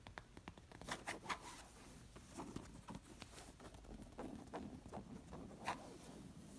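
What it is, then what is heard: Linen pillow. Fingertips and nails scratch and tap the plain coral woven-fabric side of a stuffed square linen cushion. Soft, dry rasping and scratching are punctuated by sharper, brighter ticks and taps, all at a quiet level with brief, dull decays.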